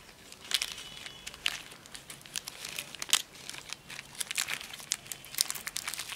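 A small, solid Premio chocolate wafer bar in a thin, crinkly plastic wrapper is held in both hands while the wrapper is torn open and crumpled with the fingertips, revealing the wafer, with other wrapped candies lying untouched on artificial grass nearby. The sound is a dense run of bright, high crinkles and sharp, dry snaps with almost no low end, each crackle stopping instantly.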